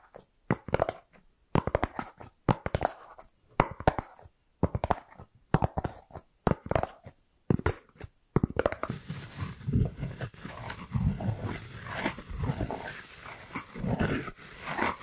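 A white round styrofoam plate held beside the microphone is scratched with long nails, giving short, squeaky, crunchy strokes separated by brief silences. After about eight seconds the scratching becomes continuous and denser, with a fuller low rumble beneath the squeaks.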